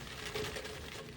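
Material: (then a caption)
Fried batter. A fried spinach fritter (palak bhaji) is crunched again to show its crispness, giving a dense, brittle crackle spread from low to bright frequencies with a faint mid tone. The steady crunching lasts about a second, and the fritter is lovely and completely crispy.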